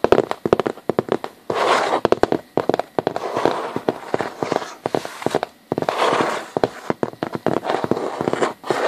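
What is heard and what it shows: Fingertips and short nails of both hands scratch and tap a large flat sheet of hollow corrugated cardboard, possibly a box side. Quick, dry, sharp taps alternate with longer bursts of rough, hissy scratching across the surface.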